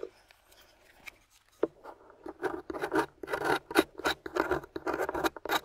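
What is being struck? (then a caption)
Plaster excavation block. A metal chisel pick with a wooden handle scratches and scrapes the surface of a solid gray plaster dig block on a white table, steadied by long-nailed fingers, raising gray dust. After a few faint ticks, a run of short, gritty rasping strokes builds into a fairly quick, uneven rhythm, with a midrange body and a bright, dry hiss.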